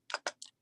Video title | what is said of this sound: Online Class: How to create Ocean and Beach Jewelry with Resin! - Michaels | you can hear that tap it's hard